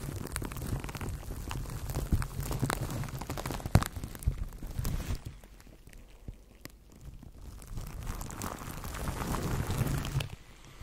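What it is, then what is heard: Plastic cling wrap crinkled on a microphone. A microphone wrapped in clear plastic cling film is cupped in both hands while the fingers squeeze and crinkle the wrap. The result is dense, muffled crackling and rustling with a heavy low rumble and sharp pops. It thins out to quieter crinkles midway, builds again, then drops off near the end.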